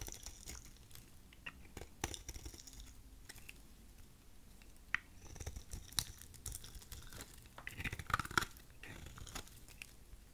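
A thin, curved piece of solid dry white soap is held in the fingers and shaved with a utility knife blade. Quiet, crunchy scraping cuts come in quick dry bursts with sharp crackles, rising to a denser, brighter run of crunches toward the end.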